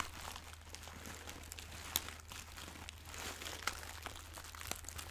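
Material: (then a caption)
Fabric. A small, soft, pillow-shaped fabric pouch with a floral print and crinkly filling is squeezed and scratched with long nails and fingertips close to the microphone. The result is continuous bright crinkling and scratching, with a few sharper crackles standing out over a steady low hum.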